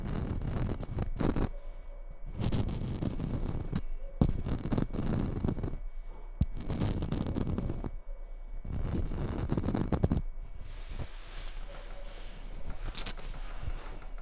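Long red nails scratch the surface of a hollow red glitter-coated Christmas bauble as it is held and rotated. Dense, gritty scratching comes in repeated bursts separated by brief pauses. It turns softer and thinner in the final few seconds.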